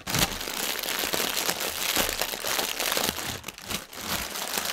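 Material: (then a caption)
Polyethylene. Fingertips and nails scratch the film of a strip of inflated, clear polyethylene air cushions, hollow and air-filled, lying on a table. The result is a dense, continuous, bright crinkling and scratching with very little low end, staying fairly steady apart from a couple of brief dips near the end.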